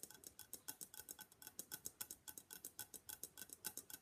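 A hollow gold-and-black Venetian face mask, likely papier-mâché, is held in both hands and rapidly tapped with long black nails. About thirty quick, dry clicks come in an uneven run. They are quiet, bright and high, with a hollow tone and almost no ring or low end.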